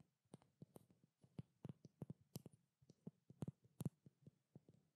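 A small glass bottle of treatment oil with a blue label and silver cap is tapped and lightly scratched with long black nails. Quick, dull taps with a low body come in an uneven rhythm, each dying away almost at once, with faint scratching between them.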